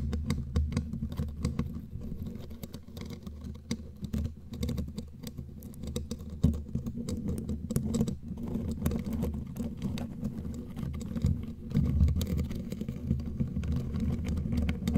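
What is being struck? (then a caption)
Metal mesh microphone grille. Very long, pointed, glittery claw nails on both hands scratch and tap the hollow metal mesh grille of a bare black condenser microphone. The result is a dense, continuous patter of scratchy scraping and quick ticking taps over a heavy, boomy low rumble. Occasional louder taps stand out from the steady texture.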